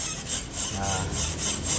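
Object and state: Worn, loose suspension ball joint.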